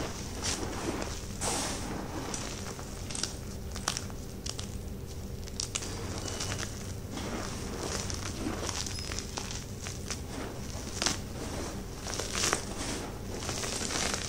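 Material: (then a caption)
Chalk. Fingertips and palms press, pat and rub into the same dry heap of white gym chalk powder with small crumbly chunks, crushing the remaining bits. The result is a steady, soft, gritty crunch and crackle with a low rumble underneath and bright crumbling bursts throughout.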